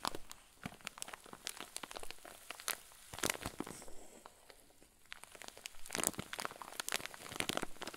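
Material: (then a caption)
Plastic. A clear zip-lock plastic bag full of white fluffy filling is squeezed and crinkled with both hands. Soft, bright crinkles and crackles come in quick, dense bursts, briefly easing off around the middle before picking up again.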